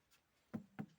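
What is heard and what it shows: Knuckle knocks on a rubber tractor tire that is partly filled with water while it is being filled, to check the water level. Two short, dull, low thuds are heard with almost no ring, and the tire sounds normal for its fill.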